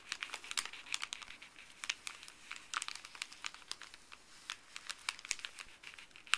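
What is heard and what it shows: Fuzzy gloved fingertips scratch and crinkle a folded stack of thin printed paper from a paper pharmacy bag. Dense, bright crackles and rustles come in quick, uneven bursts with almost no low end, each snap dying away instantly.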